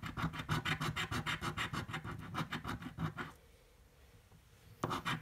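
A coin held in the fingers scratches the coating off a green, thin card scratch-off lottery ticket lying flat on a table. Quick, rhythmic rasping strokes run for about three and a half seconds, then a brief quiet pause, and the scratching resumes just before the end.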